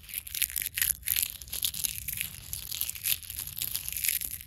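Dry brown leaf fragments, held in one long-nailed hand over leaf litter, are crushed and crumpled between the fingers. The result is a dense run of bright, crisp crackles and crunches that keep going for the whole clip, with little low end.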